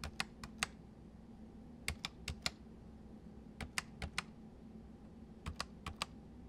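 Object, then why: Plastic mechanical keyboard. Fingertips type on the letter keys, arrow keys and number pad of a white full-size MSI plastic mechanical keyboard with hollow keys. Sixteen sharp, bright clicks come in four loose bursts, each dying away almost instantly. A faint, steady low hum runs underneath.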